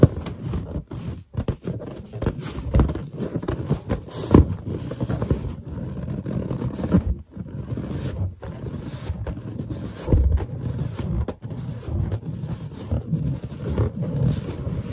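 A large, hollow, inflated white latex balloon is held in both hands while fingertip pads rub and grip its surface and long nails touch it. The result is a steady run of squeaky friction rubs and dull, hollow taps. The sound is mostly low and boomy, with little brightness.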